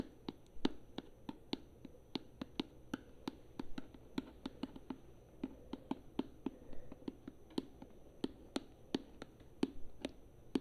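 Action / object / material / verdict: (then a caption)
tap / plastic conditioner bottle / plastic / none. A tall plastic conditioner bottle, held up near the face, is tapped with long nails along its side and cap. About thirty sharp, quick clicks come in an uneven rhythm, each with a short hollow low thump under a bright tick that dies away almost instantly, over a faint low hum.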